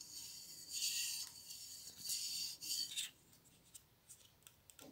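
Long blue nails scratch and tap along a printed White Dove aluminium aerosol spray deodorant can, metal and hollow with a plastic cap. Bright, raspy scratching swells and fades in several passes, then gives way to a few sharp, light taps.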